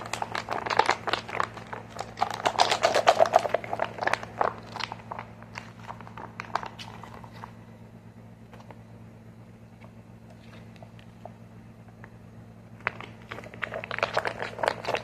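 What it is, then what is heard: Plastic squeeze tube tapped. A medium green plastic squeeze tube with a white cap is held in the hands and tapped with short fingernails and fingertips, making quick, irregular, dry clicks and crinkly taps. The tapping is busy at first, thins to sparse soft ticks in the middle, then picks up again near the end over a faint steady low hum.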